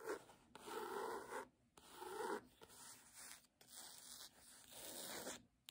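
Long fingernails scratch back and forth across the cloth cover of a red "Doggerel" hardcover book with its dust jacket removed. The result is a series of soft, dry, rasping strokes with brief pauses between them, fuller in the low-mid range and without low rumble.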